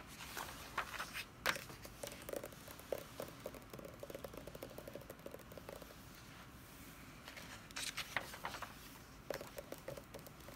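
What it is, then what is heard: Paper book pages. Long red nails and fingertips tap and scratch the paper pages of a large open hardcover D&D Player's Handbook lying flat. Soft, sharp taps and dry, crinkly scratching come in bursts over a quiet background. A page is turned near the end.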